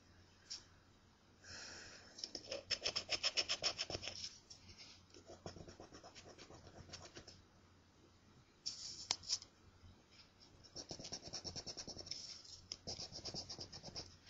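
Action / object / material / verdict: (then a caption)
scrape / paper scratch-off lottery ticket / paper / none. A coin held in the fingers scrapes across a thin, flat, solid paper scratch-off lottery ticket. Bursts of rapid, bright, gritty scratching strokes come in uneven runs separated by short pauses, over a faint steady low hum.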